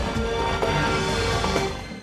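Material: Nothing is struck.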